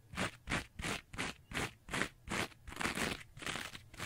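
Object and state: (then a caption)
Abrasive scouring pad being scratched. Long nails scratch across the green abrasive layer of a rectangular two-layer kitchen sponge with a yellow foam layer. The result is a brisk series of dry, crunchy scraping strokes, with broadband bright hiss centered in the upper mids. Each stroke cuts off quickly, and the bursts come distinct at first, then run closer together toward the end.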